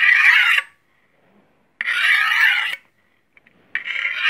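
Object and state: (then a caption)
Steel knife honed on a steel rod. A long solid steel chef's knife blade is scraped along a steel honing rod in three sweeping strokes, each a bright, metallic rasp centered around 2 kHz and lasting about a second. Short near-silent pauses fall between strokes, with faint light taps before the last one.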